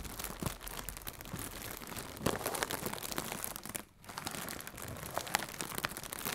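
Fingertips with red-painted nails crinkle and squeeze a hollow strip of blue plastic air cushion packaging. A steady, bright crinkling is punctuated by sharp crackles, with a brief near-silent pause midway before the crinkling resumes.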